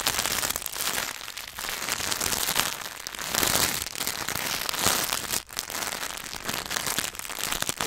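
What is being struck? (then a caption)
Chocolate bar in paper and foil wrapper. A Hershey's milk chocolate bar in its paper and foil wrapper is held upright while fingertips and nails tap fast on the wrapper. The result is a dense, bright crackling patter with almost no low end, steady throughout apart from a brief drop in level near the middle.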